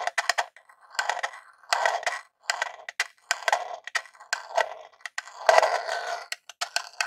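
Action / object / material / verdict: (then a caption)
scrape / hollow plastic console casing / plastic / none. A long jeweled nail scratches and taps along the top edge and logo area of a small grey hollow plastic Super Nintendo Classic console. Quick, dry clicky taps alternate with short scratchy rasps that sit in the midrange with a bright edge and no low end. Each sound stops almost instantly, with no ring.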